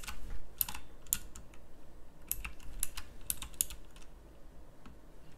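Fingertips with long nails type on a pink backlit mechanical keyboard with round plastic keycaps. Sharp, bright plastic clicks come in quick, uneven bursts over a steady low hum. The keystrokes grow softer toward the end.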